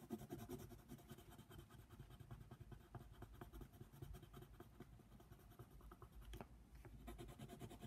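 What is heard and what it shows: A yellow colored pencil scratches back and forth over a flat paper coloring book page, coloring in a giraffe. The quiet, dry scratching comes in quick, uneven strokes at about two or three per second, each one short with no ring. There is a soft low rumble underneath and an occasional sharper tick.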